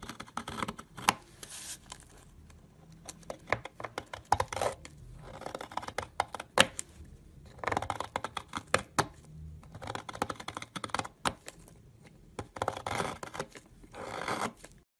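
A utility knife shaves crumbly layers off a half-carved, solid yellow egg-shaped soap bar held in the fingers. Many short, crisp scraping and cutting strokes come in uneven bursts with bright, dry texture and almost no ring, separated by brief quiet pauses.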